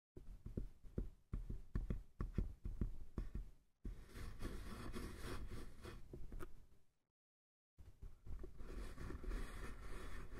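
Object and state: Wooden box.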